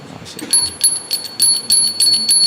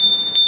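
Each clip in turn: First: poor-sounding hand bell. Second: good-sounding metal hand bell.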